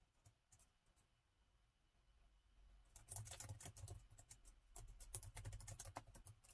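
Both hands type continuously with their fingertips on the plastic chiclet keys of a gold laptop. A few scattered, soft clicks at first give way after about three seconds to a dense, uneven run of quick, bright key taps over a low background hum.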